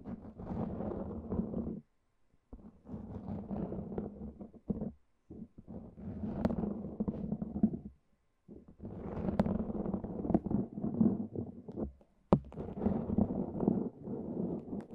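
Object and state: Cohesive fabric bandage wrap being peeled.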